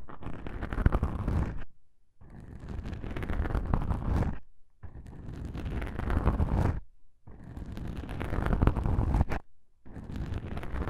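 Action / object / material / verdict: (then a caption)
scrape / foam microphone windscreen / foam / none. Two black foam microphone windscreens, squeezed together, are rubbed and scratched by a single fingertip with a long pink nail. The soft foam gives a deep, muffled, crackling rumble in five bursts, each separated by a brief silence.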